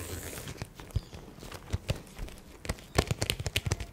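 A small, flat, pink, glitter-filled clear vinyl (PVC) zippered makeup pouch with gold corners is held close to the microphone and tapped and scratched across its glittery surface with long painted acrylic nails. A soft, crackly scratching hiss gives way to scattered sharp taps with dull low thumps and bright clicky edges, quickening into a dense run of taps near the end.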